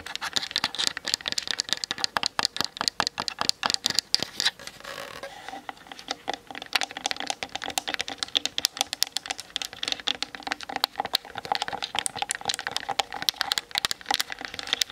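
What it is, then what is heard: Plastic camera body tapped with nails. Long nails tap fast on the top plate and the front around the lens of a Canon DSLR with a hollow plastic body, mounted on a tripod. The result is a dense stream of sharp, bright, dry clicks with no ring. The tapping eases briefly just before the middle and then picks up again.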